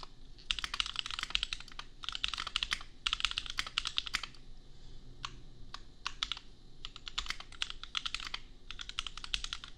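A compact custom mechanical keyboard with red/pink plastic keycaps and Gateron Milky Yellow switches is typed on with fingertips, first with one hand and then with both. Bursts of rapid, bright clacking keystrokes come in short runs separated by brief pauses, each click sharp and dry with almost no ring over a faint low hum.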